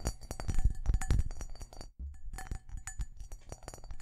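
A large, empty, hollow cut-glass crystal bowl is held up and turned while fingertips and nails tap quickly and unevenly on its faceted surface. The taps make short, bright clinks over dull low knocks, with a brief silence near the two-second mark before the tapping resumes.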